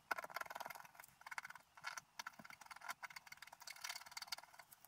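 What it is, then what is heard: Scratch art paper being scratched. A wooden stylus scratches through the black coating near the top edge of a flat scratch art paper sheet resting on a table. Quick, dry scratching strokes come in rapid bursts, with a bright, raspy texture and almost no low end. Each short stroke stops almost at once, leaving no ring.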